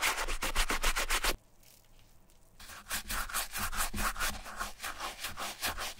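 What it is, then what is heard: Sneaker being scrubbed with a brush. The tongue and collar of a suede and mesh Adidas Marathon running shoe are scrubbed wet with a wooden bristle brush and soap foam while the hollow shoe is held in a gloved hand. Fast, steady back-and-forth brushing strokes give a bright, rasping rub with a low thump under each pass. The scrubbing stops for about a second of near silence, then resumes with the same rapid rhythm.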